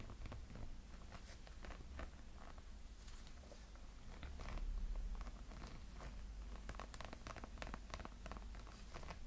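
Nails and fingertips scratch the sides of a small, hollow light-up snowman figure with a textured silicone body. The result is a quiet, steady run of soft, rapid scratching and rustling strokes with short bright ticks over a low, rumbling undertone that swells briefly around the middle.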